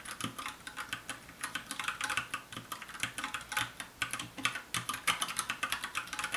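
Fast two-handed fingertip typing on a compact 60% black plastic mechanical keyboard with a hollow case. It makes a rapid, steady stream of sharp, bright clacks that die away almost instantly, with very little low end.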